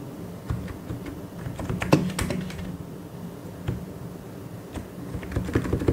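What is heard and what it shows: Fingertips type and tap on a full-size white and grey mechanical keyboard with plastic keycaps. The result is a steady, irregular run of short, dull clacks with a low, thocky body and little brightness, each dying away almost at once. A few keystrokes land louder near the two-second mark and toward the end.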